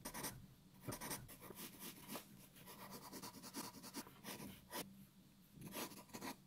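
A graphite pencil draws and shades in steady strokes on a white sheet of paper lying flat on a wooden table. Soft, dry scratching and rubbing come in repeated bursts with bright, papery edges over a faint low hum, staying quiet and close throughout.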